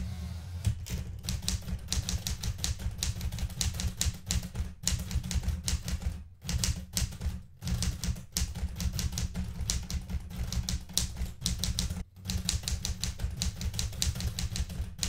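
Fingertips with red-painted nails type rapidly on the plastic keys of a blue metal portable manual typewriter. Dense, bright typebar clacks ride over a heavy low thump, broken by a few brief pauses. Each clack is short and dry.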